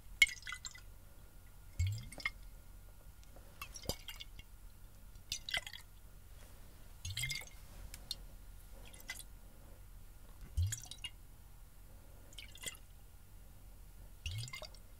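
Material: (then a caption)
Glass. A clear, hollow glass bottle partly filled with water is held in one hand and shaken, so the water sloshes inside while fingers and rings touch the glass. Short, bright bursts of sloshing and dripping splashes repeat every second or two, with small clicks against the glass and quiet pauses between them.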